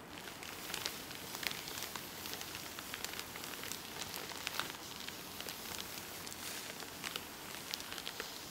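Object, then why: Soft package wrapped in plastic film. Long painted nails rub and scratch across the white and pink printed plastic film wrapping a medium-sized soft package held in one hand. A steady, quiet, crinkly pattering fills the clip, bright and crackly with many small sharp ticks and almost no low end.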